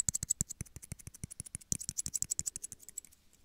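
Two small, hollow, empty clear plastic shot glasses held in the hands are tapped quickly with fingernails. About 25 fast, slightly uneven taps are heard, each a bright, dry click with a soft low knock underneath. The sound dies away almost instantly, and the tapping thins out toward the end.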